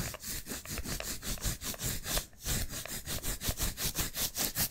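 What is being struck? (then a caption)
Adhesive paper roll of a lint roller. The white adhesive paper roll of a hand-sized lint roller, held upright, is tapped and scratched with fingertips and painted nails. Quick, papery scratching strokes come in a steady rhythm of bright, rasping bursts over a soft low rumble, with a brief pause partway through before the strokes pick up again.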